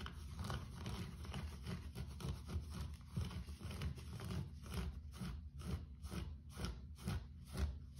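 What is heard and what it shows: Fingertips and nails quickly scratch and rub a low-pile grey carpet floor, making a dense, muffled, low-pitched scraping. Brisk, uneven strokes repeat about twice a second.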